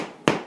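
A homemade white bread loaf, baked and cooled, is knocked once, giving a short, hollow thump with a midrange body around 320 Hz that dies away within a fraction of a second. The hollow sound shows the bread is done after baking 30 minutes at 375 with the oven preheated to 425.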